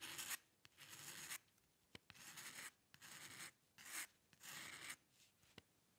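A metal nib dip pen scratches long curved ink lines across a single white paper sheet. Bright, raspy scratching comes in a series of strokes separated by short pauses, with small sharp ticks where the nib touches down or lifts.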